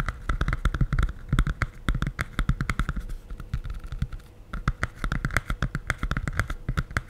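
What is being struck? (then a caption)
Hardcover cardboard picture book. Fingertips and nails tap rapidly on the glossy printed board cover of a medium, solid, closed hardcover cardboard children's picture book held in both hands. About forty short, dry taps sound in uneven bursts, each a low, hollow thud with a faint bright click on top. Every tap dies away almost instantly.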